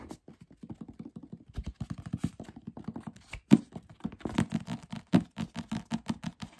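A thick paperback novel with a glossy paper cover and paper pages has its cover tapped and scratched with fingertips and short nails, and its page edges scratched and rubbed. About thirty quick, uneven taps and scratches sound as short, dry thuds centered low around 200 Hz. The hits die away almost instantly.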